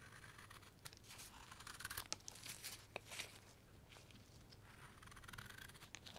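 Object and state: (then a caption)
Wooden block being carved with a knife. A steel knife carves long curls off the end grain of a pale, solid light wood carving block held in a gloved hand. The result is a quiet series of dry, bright scraping and slicing strokes with crisp, short snaps and no ring.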